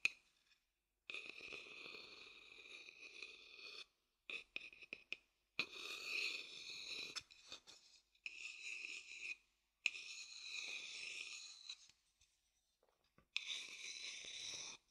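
A thin wooden stick taps and scrapes the outer bottom of a hollow wooden bowl held upside down. Bursts of bright, dry scraping alternate with short clusters of quick taps that stop dead with no ring, all fairly quiet and separated by brief silences.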